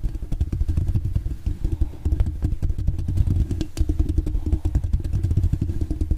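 Long dark-painted nails scratch and tap rapidly with both hands on the grille of a hollow metal mesh microphone head. The result is a dense, continuous stream of deep, muffled thuds and rumbling scratches with faint crackly clicks on top.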